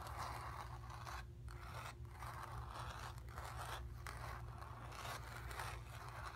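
Long nails scratch across a painted cotton canvas, circling around a painted sphere, producing continuous dry, raspy scraping strokes with brief pauses between passes. A steady low hum sits underneath the quiet scratching throughout.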